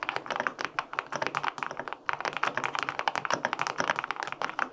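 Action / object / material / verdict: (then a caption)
tap / aluminum-cased mechanical keyboard with plastic keycaps / aluminum, plastic / none. Fingertips type quickly on the plastic keycaps of a white-pink full-aluminum 65% mechanical keyboard with linear switches. A dense run of short, crisp mid-pitched clacks with almost no low end fades out almost instantly after each stroke, pausing briefly around the two-second mark before the typing resumes.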